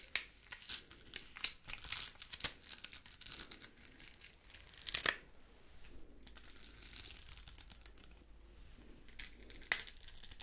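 A hand-sized, thin flexible sheet of small pink and clear plastic rhinestone stickers on a clear plastic backing is bent, scratched and rubbed with long pink nails. The result is dense, bright crinkling and tearing-like scratches with sharp clicky taps. A quieter, softer rubbing stretch comes in the middle.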